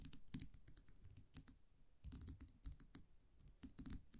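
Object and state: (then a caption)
Metal champagne cork cage. A small wire champagne muselet with a round metal cap, held in the fingers, has its cap tapped and scratched with long nails. Quick, dry, quiet clicks come in uneven bursts, with bright crisp tips over a soft low thump. Each tap dies almost at once, with no ring.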